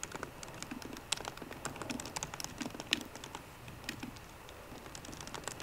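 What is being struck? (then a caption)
Laptop keyboard with plastic keys in an aluminium body. Fingertips and short painted nails of both hands type on a 13-inch MacBook Pro keyboard, its low-profile plastic keys set in a solid aluminum body. A steady run of quick, light, bright clicks and taps sounds, each dying away almost instantly, centered near 3 kHz with little low end.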